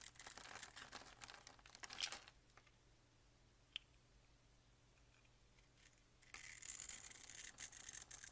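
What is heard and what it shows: A box-cutter blade scrapes small cubes off a solid, rectangular, grid-scored peach bar soap held in the hand. Bright, dry, crumbly scraping fills the first two seconds and ends with a sharper crunch. After a quiet stretch broken by a single faint click, the high scraping returns for the last two seconds.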